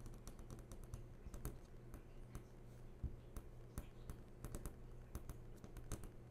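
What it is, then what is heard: Flat-screen TV panel. Fingernail tips tap and trace across the glossy panel of a large, switched-on flat-screen TV, producing an irregular series of short, dry clicks with bright edges. A steady low hum sits underneath throughout, and each tap dies away almost instantly.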